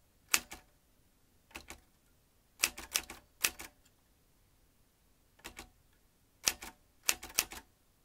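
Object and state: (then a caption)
Metal manual typewriter. Fingertips type on the round keys of a vintage metal manual typewriter with fanned typebars and a ribbon spool. Bright, crisp metallic clacks come in short clusters separated by pauses, each strike dying away almost instantly. There is very little low end and the overall level is quiet.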